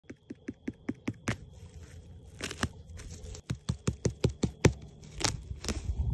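A wild mushroom is tapped repeatedly, giving a run of short, dull, low-pitched knocks that die away almost at once. Rustling and tearing handling noise fills the gaps between the taps.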